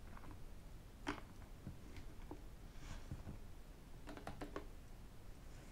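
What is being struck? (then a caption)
Plastic water bottle. Fingertips and metal rings quickly tap a hollow white plastic sports water bottle standing upright. The taps are short, dry clicks and knocks that die away almost at once, over a soft, low background rumble.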